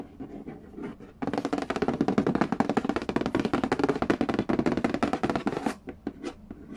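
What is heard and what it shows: Fingertips and nails tap and scratch the glossy lid of a hollow cardboard Game of Life board game box. Soft, sparse taps give way at about 1.2 seconds to a rapid, drum-roll-like flurry of hollow, low-pitched knocks with scratchy texture. At about 5.7 seconds the flurry thins back to a few quieter taps.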